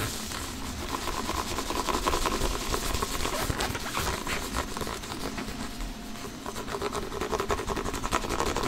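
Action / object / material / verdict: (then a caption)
tap / inflated synthetic leather soccer ball / synthetic leather / none. An inflated, hollow soccer ball with synthetic leather panels is held in front of the chest and tapped and lightly scratched with the fingertips and short nails of both hands. The result is a steady stream of quick, irregular, soft taps with a hollow low thump, layered with a dry, bright scratching texture. Each tap dies away almost at once.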